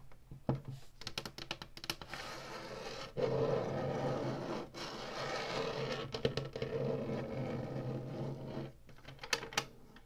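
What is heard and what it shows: Long fingernails scratch along the ribbed black plastic top of a hollow Atari Flashback 2 game console and tap its buttons. Quick, sharp plastic clicks open the clip, followed by a sustained raspy scraping with a faint mid-pitched whine. The scraping pauses briefly, then resumes before a final scatter of light taps.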